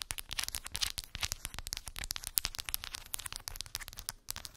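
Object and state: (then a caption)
Wooden beads on a cork board. Long pink acrylic nails tap and scratch across a small square cork board covered in glued round wooden beads. A rapid, dense run of sharp, bright clicks and crackly scrapes continues without pause, each tick dying away instantly.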